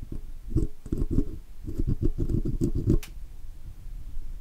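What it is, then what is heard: Chrome metal microphone badge. A steel pick hooks and scratches inside the letters and around the oval rim of the chrome "Blue" logo badge on a metal microphone body during cleaning. A rapid run of dull, low, close scraping and tapping bursts is heard, ending in a brief bright click before fading to a quiet low rustle.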